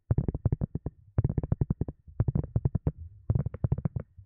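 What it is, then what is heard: Silicone cup lid. Long glossy nails tap a thin, round white silicone cup lid that is hollow underneath. The taps come quickly in four bursts, each a soft, hollow, low thump that dies away almost at once.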